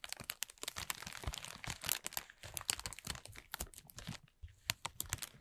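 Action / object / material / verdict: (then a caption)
scrape / thin plastic film bag / plastic film / none. A thin, clear plastic film bag is rubbed and crinkled with the fingertips of both hands, then gathered up. It makes dense, bright crackling and crinkling with sharp little snaps that die away almost instantly. There is a brief quiet dip near the end before a few more crisp crackles.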